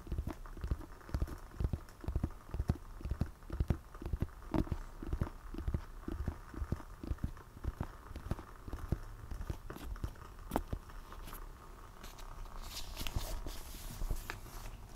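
Fingertips tap rhythmically on the glossy printed back cover of a medium, solid hardcover book held upright. The result is a quick run of dull, low, muffled thuds, each dying away almost instantly. Near the end the taps soften under a faint, brighter rustle.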